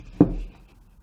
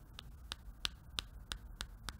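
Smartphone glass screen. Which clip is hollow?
The first.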